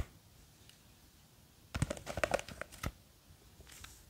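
Long green fake nails scratch and grip the sides of a small clear plastic jar with a white lid, filled with blue gel beads. After a quiet start, a brief burst of crisp, crackly scratches and clicky taps rises in the middle of the clip, then fades back to faint scraping.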